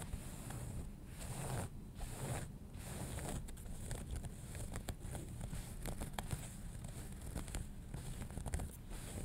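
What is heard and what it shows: Fingernails scratch along the fabric of a folded denim jeans leg lying flat, near the hem seam. Soft, dry, rasping scratches repeat steadily over a low, constant rumble, with many short bright strokes. The scratching keeps an even, quiet level with brief crisp peaks.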